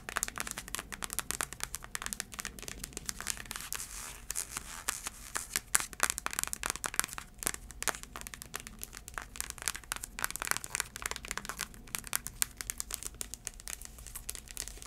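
Long acrylic nails tap and scratch the tan sole of a heeled sandal held upright. The result is a dense, quiet stream of quick, crisp clicks and dry scratching with a bright, crinkly texture and almost no ring after each tap.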